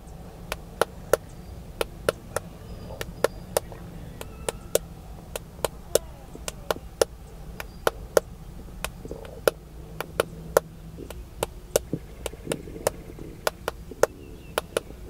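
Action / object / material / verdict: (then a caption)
tap / smartphone in a plastic case / plastic / none. Fingertips tap the back of a solid, hand-sized smartphone in a black plastic case, held in one hand near the chest inside a car. Dozens of sharp, very short clicking taps with a midrange tone arrive at an irregular pace over a faint, steady low hum.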